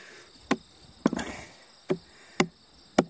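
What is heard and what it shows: Fingers and a palm thump and slap a large whole green striped watermelon with an intact rind, solid and heavy, lying on a weathered wooden plank outdoors. Six short, dull, hollow knocks with no ring ring out, two of them close together, over a steady high buzzing in the background.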